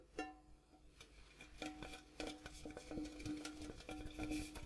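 Fingertips and nails tap the outside wall and the gold-coloured base of a large, empty, hollow printed metal popcorn tin with a gold interior, held up close. Irregular taps give a short, hollow metallic ring with a steady tone near 312 Hz and bright, clicky overtones, each fading quickly.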